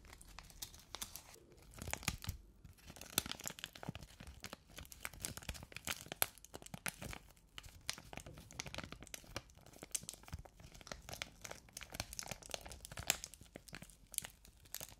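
A small, clear, thin crinkly plastic pouch is held in both hands close to the microphones and crinkled and rubbed between the fingertips. It makes a steady stream of quiet, bright crackles and rustles, with brief louder crinkles, across the whole fifteen seconds.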